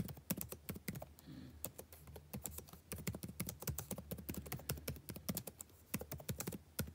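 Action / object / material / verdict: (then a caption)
tap / plastic chiclet laptop keyboard / plastic / none. Fingertips type continuously on a backlit laptop keyboard with plastic chiclet keys. The result is a rapid, uneven stream of short, dry taps, each with a soft low thud and a brief bright click that fades almost instantly.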